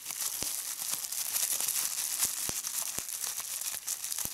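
Clear plastic bubble wrap is bunched in both hands while fingertips and nails squeeze and pop the bubbles. A steady, bright crinkling runs throughout, punctuated by sharp, short pops with almost no low end.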